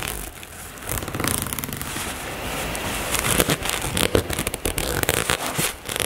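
Long nails scratch the fabric of a black floral nylon toiletry bag, scratching fast near the zipper. The result is a dense, crackling, broadband rasp with bright high hiss and quick, uneven bursts that grow busier and louder in the second half.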